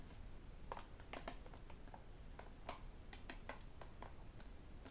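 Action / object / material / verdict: tap / plastic sports water bottle / plastic / none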